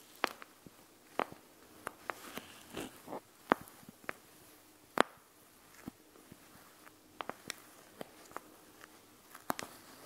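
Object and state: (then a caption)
Gel bead eye mask tapped and scratched with nails. Long nails tap and scratch the plastic pouch of a panda gel bead eye mask filled with gel beads, heard up close. Sharp, bright clicks arrive at an uneven pace over a quiet background. Softer scratching and rustling fill the gaps between taps.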